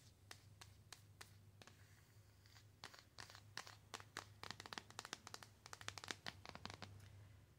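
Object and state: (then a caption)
Cardboard box tapped and scratched with nails. Long nails tap and scratch a flat, rectangular white-and-gold printed cardboard "In My Element" box holding an eyeshadow palette. Sharp, bright clicks and scratchy rasps come in quick, uneven bursts, growing denser and louder toward the end over a steady low hum. Each click dies away almost instantly.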